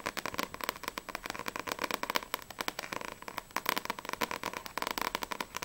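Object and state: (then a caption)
Paperback book with glossy cover. Long nails tap quickly on the glossy front cover of a small, solid paperback manga, Sprite volume 1, held upright. The result is a rapid, continuous stream of dry, crisp clicks with a bright edge and a tone centered around 1 kHz. Each tap dies away almost instantly.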